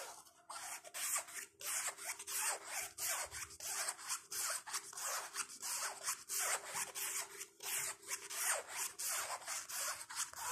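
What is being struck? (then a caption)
Nylon fabric crossbody bag. Fingertips rub and scratch across the fabric front panel of a small, flat black nylon/canvas crossbody bag with tan trim and zippers, lying on a bed. About twenty bright, hissy scratching strokes come in a loose, uneven rhythm, each fading quickly, over a faint steady low hum.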